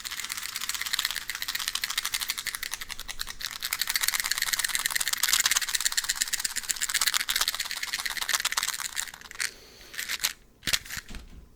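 A box of matches is shaken and handled, producing a fast, steady, bright rattle of the loose matches inside that lasts about nine seconds. The rattling then thins out into a few scattered clicks and taps before the clip ends.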